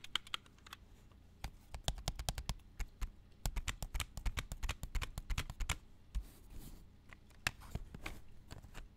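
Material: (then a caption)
Plastic. Plastic video tapes are tapped in quick, irregular bursts of dry, sharp clicks with bright edges and a low body. Each tap stops almost instantly, with short pauses between flurries.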